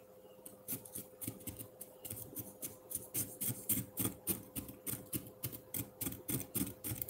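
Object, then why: Frozen milk ice block scraped with a metal fork. A solid block of frozen pineapple milk ice in a ceramic bowl is scraped downward with the tines of a metal fork. Quick, gritty scraping strokes repeat steadily about three to four times a second, each a short bright crunch over a faint steady low hum.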